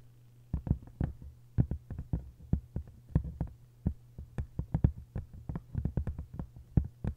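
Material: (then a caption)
Paper, board. Long nails tap and scratch on a solid hardcover book with a textured paper cover. About thirty quick, dull, low-pitched taps land in an uneven rhythm, each dying away almost instantly, over a steady low hum.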